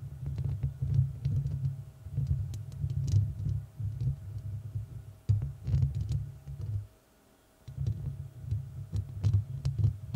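Long red nails of both hands scratch and tap the hollow, rounded metal mesh grille of a large studio microphone. The result is a dense, deep rumbling and thumping with quick ticking taps and occasional bright scratches. It pauses briefly near the end, then resumes.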